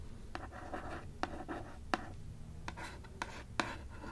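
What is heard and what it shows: A small "Tales of Terror" hardcover book, or book box, with a printed board cover is held upright in one hand while long nails scratch and tap across the printed cover. Seven short, dry, bright taps stand out over a steady raspy scratching and a low background rumble.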